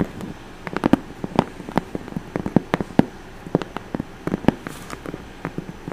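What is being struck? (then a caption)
Corrugated cardboard box. Long orange nails scratch and tap the face of a hollow brown corrugated cardboard box with some tape on it. Irregular dry, hollow taps in the low-mid range stand out above a soft, steady scratching. Each tap is short and dies away almost at once.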